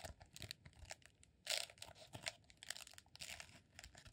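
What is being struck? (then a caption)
Rolled honeycomb beeswax candle. Fingertips and short nails scratch and squeeze the textured surface of a green rolled honeycomb beeswax sheet candle, a solid roll about 20 cm long held in both hands. The result is a run of short, dry, bright crackling and crinkling scrapes with little low end, with the loudest burst at about 1.5 seconds.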